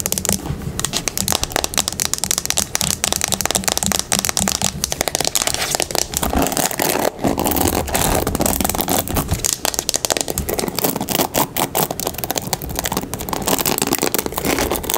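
A turquoise plastic paddle hairbrush lies on a wooden table while long pink nails tap rapidly on its smooth plastic back. The brush is then flipped and the nails scratch across its bristles. The result is a dense, steady stream of fast, bright clicks and crackly scratching.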